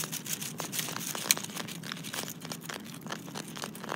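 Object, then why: Granite boulder. Fingertips and short nails scratch the rough surface of a large, solid, speckled granite boulder resting in dry leaves. A steady run of dry, gritty, bright scratching strokes is heard, with one sharper tick partway through. Each stroke stops without ringing.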